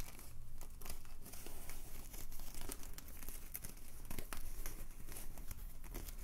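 An empty white polyethylene foam mesh sleeve for a wine bottle, a light hollow tube, is held in both hands and stretched, squeezed and crinkled with the fingertips. It gives a steady run of soft, dense crinkling and crackling with small squeaky snaps, at a fairly even level with a low, dull body and only faint bright edges.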